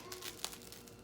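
The crust of a freshly baked baguette is squeezed, giving five quick, dry, high-pitched crackling crunches, the sharpest near the middle, with no ring afterward. The bread is crunchy on the outside and soft inside, which is exactly the sound a good baguette should make.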